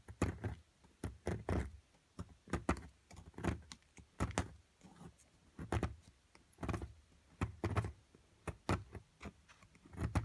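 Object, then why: Plaster block and metal chisel. A metal chisel chips away at a solid plaster excavation block holding a purple crystal. The clip is made up of repeated clusters of short, dull, low-heavy taps with brief scraping. Each hit dies away almost at once, with quiet pauses in between.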